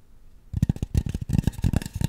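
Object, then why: Polystyrene foam mannequin head. Long nails scratch and tap over the back and top of a white polystyrene foam mannequin head. After about half a second of near silence, a quick, irregular run of soft, dull taps begins, mixed with a dry scratching rustle. Each tap dies away almost instantly, leaving low, muffled thumps.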